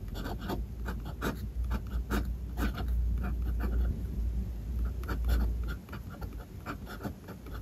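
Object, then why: Steel-nib fountain pen on a paper notebook page. A steel-nib fountain pen scratches across a flat white page of a spiral notebook while writing Japanese text. Short, irregular bright scratches and taps of the strokes sit over a steady low hum. The sound is dry and close.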